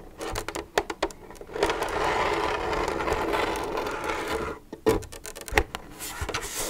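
Long nails tap and rub on an empty, hollow, translucent plastic milk jug held in the hand. Quick, hollow taps come first, then a sustained dry scratching rub, then a few sharper taps and softer rubbing to finish.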